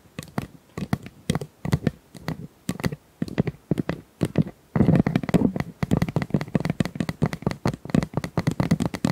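Small plastic ice cubes are tapped and handled, giving a steady run of short, dry clicks and clacks with a low-mid body and almost no ring. After a brief lull about halfway through, the taps turn louder and denser, with some rattling between hits.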